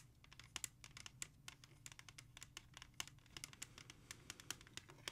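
Long nails tap and scratch the back cover of a single hollow plastic CD jewel case held in both hands. Quick, irregular bright clicks fall over a soft scratching texture with a faint low hum underneath, each tap dying away almost instantly.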